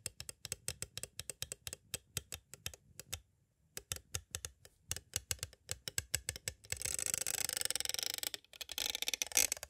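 Thin green twisted tools tap rapidly on both sides of a clear, hollow plastic cassette case with a paper insert, making many sharp, bright clicks with a short pause in the middle. In the last few seconds the tools trace across the case instead, giving a dense, continuous, bright scratching that stops briefly before resuming.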